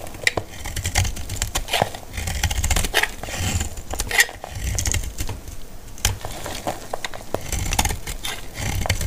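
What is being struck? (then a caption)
Laundry soap bar. A metal utility blade shaves a solid, hand-sized bar of dry white laundry soap held in one hand, flaking dry curls onto a pile of soap shavings. Quick, crisp scraping and cutting strokes give bright, dry crackles and sharp ticks over a steady low rumble.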